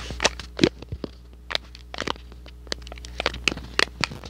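A small, hollow, thin cardboard box printed in red and white is held close to the microphone and crinkled, squeezed and scratched with fingertips and short nails. About fifteen sharp, bright crackles and crunches stand out, with softer scrapes between them. A faint steady low hum runs underneath.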